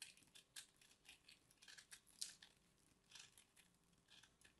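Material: Soap.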